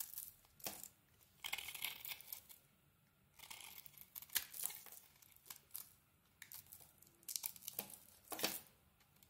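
A knife blade shaves a solid bar of soap with a black glittery coating over a yellow core, making quiet, crumbly scraping and crinkling sounds. The scrapes come in short bursts of bright, hissy texture with almost no low end, separated by brief near-silent pauses.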